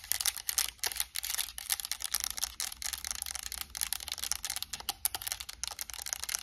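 A white and black PS5 plastic controller with purple thumbstick caps is tapped and clicked on its buttons and shell with long acrylic nails. Quick, dry, bright clicks and taps come in a dense, uneven stream, with almost no ring and only a faint low hum underneath.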